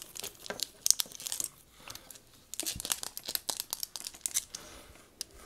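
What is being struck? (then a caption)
Metal and plastic binoculars. Black metal and plastic binoculars with a leather strap, resting on a table and held in the hands, are tapped and scratched on the body with long nails. The result is a rapid run of dry, crisp clicks and scratchy rustles, almost all bright high-frequency sound with very little low end and no ring after each touch.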